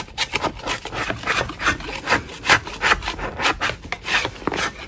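A metal putty knife scrapes a solid chalk block held in a gloved hand, making a quick, irregular series of dry, gritty scrapes. Each stroke is a short bright rasp with little low end.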